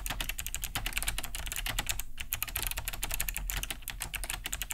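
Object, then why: Plastic mechanical keyboard. Both hands type fast with their fingertips on a large beige Cherry G80-3000 keyboard fitted with Kailh BOX White switches. It has a hollow plastic case and thick plastic keycaps and rests on a wooden desk. A dense, steady stream of short, bright, clicky key-switch taps plays over a constant low hum.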